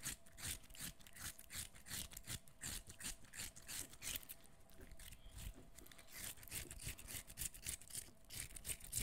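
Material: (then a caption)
Cucumber flesh. A short, solid, wet piece of peeled cucumber is held in both hands near the microphone while fingernails scratch and squish its flesh. Quick, irregular bright scratching and wet squelching bursts repeat throughout, over a soft low rumble.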